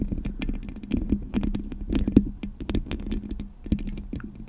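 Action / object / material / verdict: tap / metal mesh microphone grille tapped and scratched with fingernails / metal mesh / none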